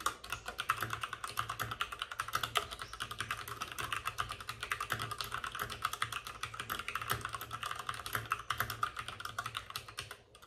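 Both hands with short-nailed fingertips type rapidly on a white full-size plastic mechanical keyboard with plastic keycaps and RGB backlighting, resting on a desk with a padded wrist rest. A steady stream of quick, crisp clacks fills the clip, each click short and bright and centered around 1.3 kHz, over a faint low hum. The typing slows briefly near the end.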